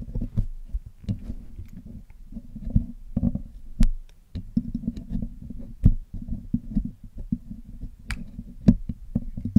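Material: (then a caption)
Metal mesh. A thin metal needle tool picks and scratches across the black woven metal mesh grille of a hollow Blue Yeti microphone head, held in fingers with pale painted nails. Close, dense low-heavy scraping and ticking comes in quick clusters, broken by a few sharp, bright clicks.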